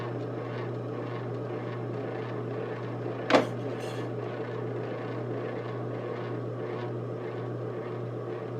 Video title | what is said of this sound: Making Marble Mugs Part 2 | I just tap on it and it kind of sounds a bit hollow. Then I know I've got it thin enough.